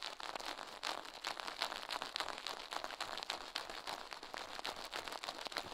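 Toothbrush bristles brush and scratch fast against the soft silicone left ear of a binaural microphone mounted on a metal mic plate, while the other gloved hand rests. The result is a dense, continuous run of quick, bright, crackly scratching strokes with almost no low end.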